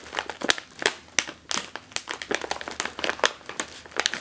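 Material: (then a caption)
Metallized plastic. A sealed, puffed metallized plastic chip bag, likely holding chips, is pressed, squeezed and crinkled with the fingertips and long green nails. A quick, irregular run of sharp, bright crinkles and crackles follows, each snapping off almost instantly with no low-end body.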